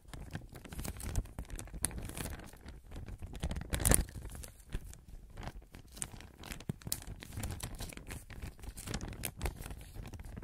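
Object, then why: Thin clear plastic bag. A thin clear plastic (vinyl) bag, held in both hands in front of the microphone, is crinkled, stretched and rustled with the fingers. The result is a steady stream of soft crinkling and sharp, bright crackles over a low rumbling undertone, with the loudest crunch near the middle of the clip.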